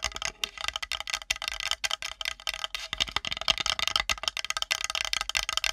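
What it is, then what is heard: Wooden plate. Long nails tap and scratch fast on the edge and top of a flat, solid, light-colored wooden plate held edge-on above the microphone. The result is a dense, steady stream of dry, bright clicks and scrapes centered around 3 kHz, with almost no low end and each tap dying away almost at once.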